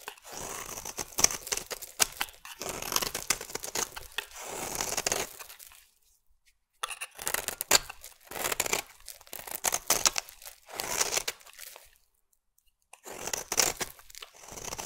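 A metal blade carves crunchy shavings from the edge of a solid oval purple bar of soap. Bursts of crisp, bright scraping and crackling come in several strokes, separated by brief silent pauses.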